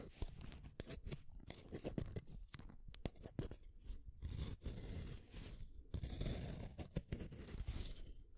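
A solid blue wooden colored pencil is shaved with a small metal blade set in a yellow holder, curling off the wood. A steady run of quick, dry scraping and crunching strokes is heard, with sharp bright clicks over a heavy low rasp, each cut dying away almost at once.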